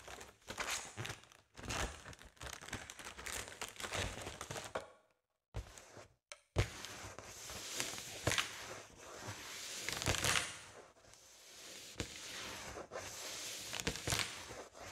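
A large, partly inflated blue metallic foil (mylar) balloon is tapped and scratched on top with fingertips and nails. Dense, bright crinkling, rustling and soft thuds continue throughout, with a brief silent gap around five to six seconds before the scratching resumes.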